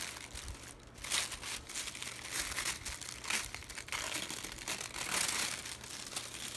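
Fingertips grab, lift and crinkle a large sheet of thin white printed tissue paper inside a cardboard box. Bright, dense crinkling and rustling rises and falls in repeated bursts, with little low-end weight.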